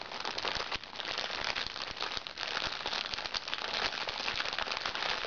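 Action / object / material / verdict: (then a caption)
scrape / plastic-film makeup bag / plastic film / none. A small, hollow makeup bag made of recycled plastic sachet film lies flat while the fingertips and nails of both hands scratch and pinch it. The result is a dense, continuous stream of bright, crisp crinkling and crackling with quick snaps and very little low end.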